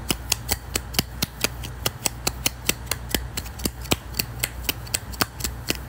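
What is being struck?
Small thin wooden disc.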